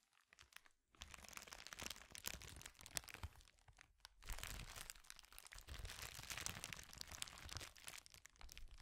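A clear plastic bubble wrap sheet, rolled and bunched in both hands, is squeezed, crumpled and twisted with the fingertips, producing crinkles. After a quiet first second, dense bright crackling and crunching runs almost continuously, briefly thinning around four seconds before resuming more loudly to the end.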